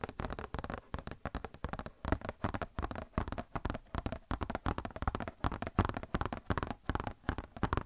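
Long nails tap and scratch a glossy paper Blizzard Shop catalog booklet close to the mic. The result is a quick, irregular stream of short, dry taps and rustling scratches with a low, thumpy body and almost no ring.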